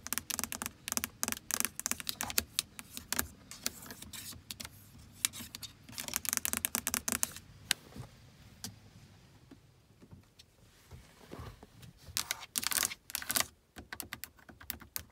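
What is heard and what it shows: Long acrylic nails tap rapidly across the hard plastic buttons, knobs and screen bezel of a car stereo head unit built into the dashboard. The result is dense bursts of sharp, bright clicks and ticks with almost no ring, thinning to sparse taps midway before quickening again near the end.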